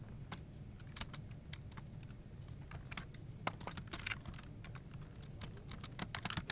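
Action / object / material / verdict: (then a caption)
tap / plastic computer keyboard / plastic / none. Fingertips of both hands type on a full-size plastic office keyboard resting on a desk, its hollow plastic case and key switches giving quick, bright clicking taps in an irregular stream. Each key press ends almost instantly over a steady low rumble underneath.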